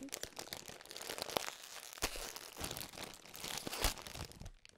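A medium-sized printed plastic bag of Anzac biscuits, partly full and held in both hands, is torn open and crinkled at the top by fingertips with painted nails. The result is a dense, bright crackling and tearing noise with sharp crunchy bursts over a steady crinkle, fading briefly near the end.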